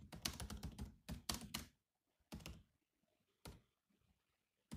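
Both hands tap with their fingertips on the black plastic chiclet keys of a grey laptop keyboard. A quick, dense flurry of clicky key taps fills the first second and a half, followed by a few isolated taps separated by short silences. Each tap is short and dry, combining a low thunk with a bright click.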